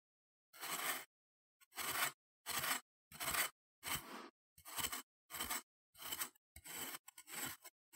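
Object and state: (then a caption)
Kinetic sand scraped with a knife. A metal knife blade held in the fingers scrapes and carves into a flattened, solid, moldable mound of green kinetic sand on a wooden chopping board. Repeated short, bright, gritty scraping strokes come at an uneven pace, each separated by brief silence.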